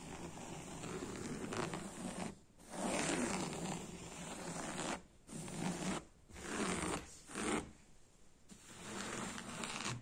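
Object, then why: Woven fabric sofa upholstery. Fingernails scratch and rub across coarse woven beige sofa fabric with a brown spiral print over padding. The result is a dry, rasping scratch in long bursts separated by brief quiet pauses, with a bright hiss over a soft, muffled low end.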